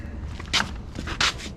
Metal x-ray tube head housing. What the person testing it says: Ooh, it sounds a little different now. It sounds hollow.